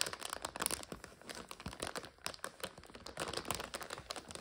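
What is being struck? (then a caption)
Plastic bag of dry egg noodles. A full plastic bag of dry egg noodles is tilted and turned in the hands. The plastic gives off dense, continuous bright crinkling and crackling with many quick snaps. There are no tonal sounds.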